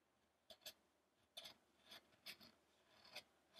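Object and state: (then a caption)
Wooden statue being carved. A small chisel is drawn through a medium-sized, solid, light wooden sculpture of an ascetic Buddha, held by one hand as it lies on a dark table. Eight short, quiet, bright, rasping carving scrapes come at uneven intervals, each dying away almost at once.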